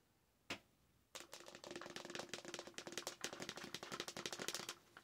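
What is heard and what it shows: A large, hollow, empty frosted plastic Starbucks cold cup with a spiderweb print and a lid is tapped with long nails. One sharp tap sounds, then after a short pause comes a rapid, continuous flurry of bright, clicky taps. Each tap is short and dry, with a faint hollow tone around 350 Hz.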